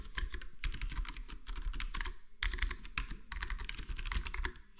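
Fingertips of both hands type steadily on a full-size black plastic HyperX Alloy Core gaming keyboard with square plastic keycaps and a foam-modded, foam-dampened case. The rapid, continuous keystrokes sound deep and muffled, with short dull thocks and a lighter, brighter tick on top. Each press dies away almost at once.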